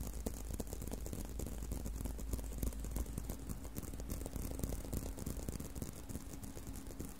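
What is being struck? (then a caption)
Leather belt strap. Fingernails scratch and tap on a brown leather belt strap bent in an arc. The result is a dense, irregular stream of quick, dull taps and scratchy rustles with almost no ring, sitting over a steady low hum.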